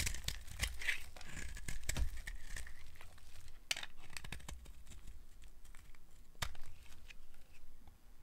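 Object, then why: Soap bar scraped with a metal blade. A dry, solid, opaque yellow oval soap bar held in the palm is scraped with a small metal blade, producing crumbly shavings. The clip is a dense run of dry, crackly scraping and crumbling strokes with sharp bright transients over a low rumble. The soap gives a brittle, crisp texture as it is shaved away.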